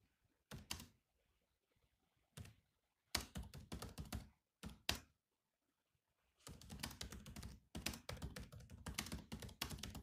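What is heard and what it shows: Fingertips of both hands type on the low-profile plastic chiclet keys of a grey metal-bodied laptop. A few isolated taps give way to bursts of rapid, clicky keystrokes, each a short dry knock with a low thunk and a bright click that dies away almost at once. It ends in a long, steady run of quiet typing with brief pauses.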